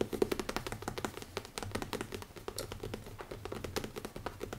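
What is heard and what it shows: Fingers tap rapidly on the leather cover of a notebook, making a dense run of quick, dry taps with a mid-pitched body and almost no ring. The taps stay fairly even in loudness throughout, with a slightly louder burst at the very start.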